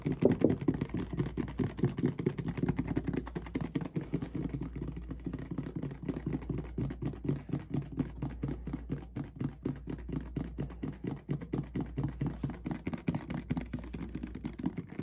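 A medium clear plastic mouthwash bottle with a white cap, partly filled with red liquid, is tapped rapidly with fingertips and nails. The quick, hollow taps come in a dense, steady stream over a low constant hum, with short dry ticks and no ring.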